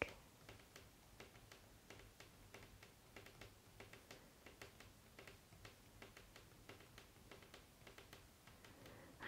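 Fingertips tap quickly and repeatedly across the glass screen of an iPad, a thin solid slab lying flat on a wooden table, while colouring by number. A quiet, steady stream of short, dry, bright taps sounds over a low background hiss, each tap dying away almost instantly.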